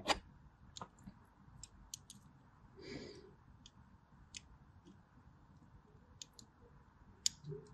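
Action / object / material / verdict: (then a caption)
scrape / bar of soap / soap / none. A blade scores lines along the side of a solid white bar of soap with a crosshatched surface. It makes quiet, sharp, bright clicks and crisp scratches spaced through the clip, with a softer drawn-out scrape around the middle.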